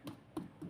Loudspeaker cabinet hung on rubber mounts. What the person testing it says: C'est très très amorti. Une tape dessus voyez encore il y a pas grand-chose. C'est pas du tout le tambour.